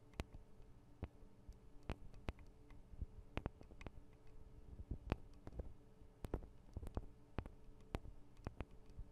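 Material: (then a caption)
Metal. Long acrylic nails tap on the tops of the small metal microphone capsules of a Tascam DR-40 recorder. They make a quick, irregular series of sharp, dry clicks over a low, steady hum, and each tap dies away almost at once.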